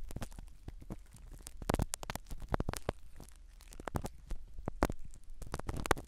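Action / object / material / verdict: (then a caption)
scrape / foam microphone cover in a silicone ear / foam / none. A black spiral ear pick scratches the foam cover of a small black microphone set inside a silicone dummy ear. Dense, close scratching and crackling rustles come in quick bursts, heavy in low rumble with sharp crisp clicks and brief bright streaks.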